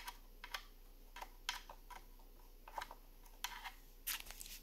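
Fingertips and long nails tap and scratch along the lid of a long, hollow wooden incense box with drilled holes, lying on a granite counter. The result is a quiet, irregular series of short, crisp clicks with a hollow, woody knock and bright scratchy edges, each dying away almost at once over a faint steady hiss.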